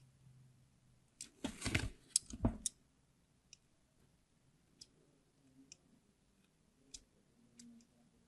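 A palm-sized, solid red translucent bar of hard soap, held in the hand, is scored with the blade of a small craft knife in repeated carving strokes. A dense burst of crisp, bright scraping and clicking comes early, followed by sparse, isolated sharp ticks over a quiet background.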